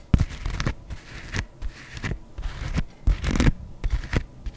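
A white adidas leather sneaker, held empty in one hand, is tapped and scratched across its upper and stripes with long nails. Sharp, dry taps mix with short, rough scratching sounds, mostly low and thudding with brief bright edges and almost no ring.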